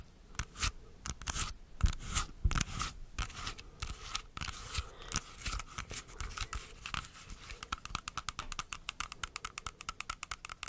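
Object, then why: Whole apple. Long acrylic nails tap and scratch the glossy skin of a whole, solid, fist-sized dark red apple held close to the microphone. Slower scratching and scraping strokes give way to a rapid, steady run of sharp, short clicking taps with a bright edge and no ring. Faint gum chewing may also be heard.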